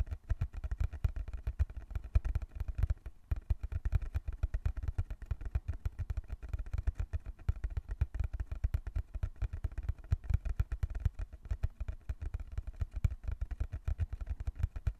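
Fingertips tap rapidly on the surface of a small, closed, hollow brown cardboard box held in both hands. A dense, steady stream of soft, dull, low thumps follows, each dying away almost instantly, with only a brief pause near the three-second mark.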